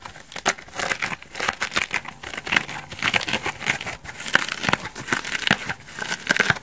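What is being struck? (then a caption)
Dry foam bath sponge. Long dark nails scratch and rub a hand-sized, dry, elliptical foam bath sponge, white bubbly foam on one side with an orange backing, held in both hands. The result is a dense run of crisp, crinkly, crackling scratches with bright, hissy texture and little low end, rising and falling in quick bursts throughout.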